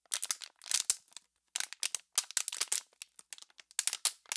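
Hands with long nails squeeze the walls of an empty, hollow, clear PET water bottle, producing a rapid series of sharp, crinkling pops. The sound is bright and dry with almost no low end, and the cracks die away instantly. It comes in irregular bursts separated by short pauses.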